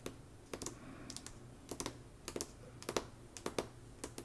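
Long nails tap rapidly on the glossy paper dust jacket of the hardcover novel Slewfoot, lying flat on a rug. Quiet, sharp, dry clicks with bright edges come in irregular quick pairs and groups, each dying away almost instantly over a soft steady hiss.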